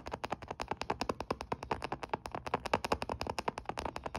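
Short fingernails tap and scratch the front edge and DS logo area of a closed olive-grey plastic Nintendo DS Lite, a small hollow handheld game console resting on a blanket. The result is a quick, steady run of about 38 dry, hollow plastic clicks that die away almost at once, centred in the mid range around 900 Hz, with faint scratchy texture between them.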